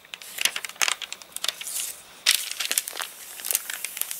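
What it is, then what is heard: Crinkly rain-dried paper pages. A rain-dried paper catalogue with stiff, crinkled pages is handled: hands turn a page, a palm rubs across it, then fingers lift and crinkle another page. The result is a dense run of sharp, bright crackles and crinkles with no low end, each snap dying away almost instantly.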